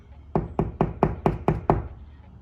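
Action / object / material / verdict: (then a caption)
knock / drywall wall panel / drywall / hollow. A drywall wall is knocked on between the studs, away from a stud, with seven quick, evenly spaced knocks that stand apart in the loudness. Each knock is a short, dull thud with low-mid body and almost no ring. The wall sounds hollow, meaning there is no stud behind that spot.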